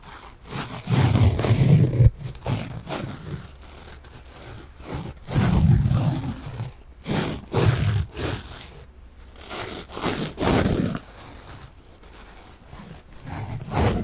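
A small pink foam kitchen sponge with a yellow scouring layer is held in the hands and scratched with fingernails. It makes dense, rough scratching and rustling bursts with a heavy, low muffled rumble and a faint bright edge, separated by quieter pauses.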